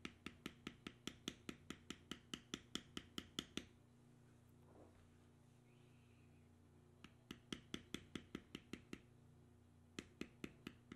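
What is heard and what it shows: A metal beveler held in the fingertips is tapped down repeatedly along the carved lines of a tan vegetable-tanned leather strip resting on a stone slab. Quick, sharp, bright taps come in three rhythmic runs, 33 strikes in all, separated by a quiet stretch with only a low steady hum and a faint brief scuffing. Each tap dies away almost instantly.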